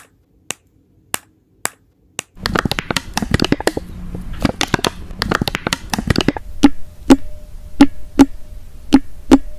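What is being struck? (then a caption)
Soft vinyl baby doll head. Fingertips and nails tap on the soft plastic (vinyl) face of a baby doll with a fabric body, lying on a dark background, its head likely hollow, striking the cheeks, nose, mouth and forehead and near the ear. Five sharp, separate taps ring out over silence, then a dense burst of quick clicky tapping and rubbing follows. Seven spaced taps end the clip, each with a brief low, hollow tone over a faint steady hum.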